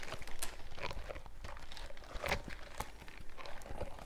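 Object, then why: Silicone scrubber gloves. Worn purple silicone scrubber gloves with bristled palms are rubbed and scrubbed together close up, the bristle pads and gloved fingers brushing against each other. The result is a steady stream of soft, crinkly, crunching friction with quick scratchy bursts over a low, muffled rumble.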